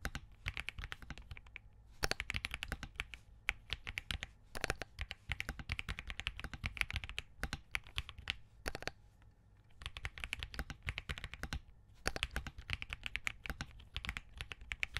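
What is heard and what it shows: A compact Spark67 mechanical keyboard with Crane switches, a POM case and plastic green-gradient keycaps is typed on steadily with the fingertips of both hands. The result is a fast stream of crisp, bright, short keystroke clacks with a low thock beneath them. Brief pauses fall near 2, 9.5 and 12 seconds.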